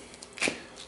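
A slab of unidentified hard, high-density plastic, about 10 inches wide and three and a half feet long and meant to be cut into slide valves, is tapped. A single sharp, bright click stands out among faint ticks and decays almost at once, sounding hard and almost glass-like.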